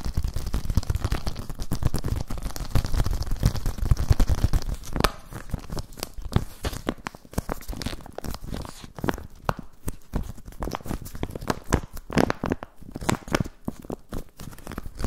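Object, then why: Thin plastic zip pouch. A thin, empty, transparent plastic zip pouch with a ring tab is crinkled and rubbed between the fingertips. The result is dense, continuous crackling and rustling. It is fuller and busier for the first five seconds, then thins into sharper, more separated crinkles with brief pauses between them.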